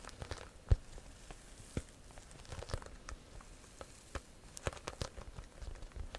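Long nails tap and scratch the front of a small pale-yellow croc-embossed leather handbag held up close. Soft, dry crackly scratching runs throughout, broken by sharp clicking taps, one standing out louder near the start.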